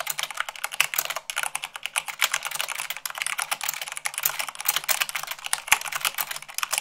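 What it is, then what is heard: Plastic mechanical keyboard being typed on. Long pink-nailed fingertips type fast, at about 98 words per minute, on a full-size mechanical keyboard with white plastic keycaps on a black frame. A rapid, continuous stream of bright, dry clicks and clacks with almost no low end, each keystroke short with no ring.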